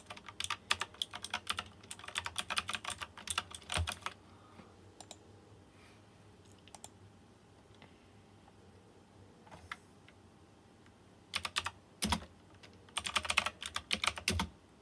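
Fingertips type on a white plastic mechanical keyboard with round chrome-rimmed keycaps and RGB lighting, producing bright, sharp clicks with a short, crisp decay. A dense burst of rapid typing for about four seconds gives way to a long stretch of near-silence with a few scattered taps, then more fast flurries of keystrokes near the end.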